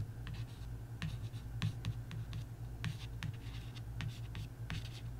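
A long nail scratches and traces across the printed card cover of a paperback coloring book, making short, dry scratching strokes over a steady low hum.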